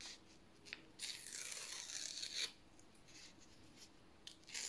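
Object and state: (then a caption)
Printed paper strip being torn. A narrow strip of thin white printed paper, held vertically, is torn slowly lengthwise by fingertips. Soft, bright crackling rips come in short bursts, with one longer, steadier tear in the middle and another brief tear at the end. Quiet pauses fall between the tears.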